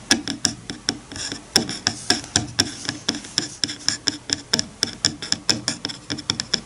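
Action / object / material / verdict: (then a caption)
flick / bamboo comb flicked by fingertips / bamboo / none. Fingertips flick and scratch the teeth of a wide-toothed bamboo hair comb resting on a bamboo cutting board. The result is a quick, steady series of dry, bright clicks with a high, glassy ping and a light scraping rasp between them. Each click dies away almost at once.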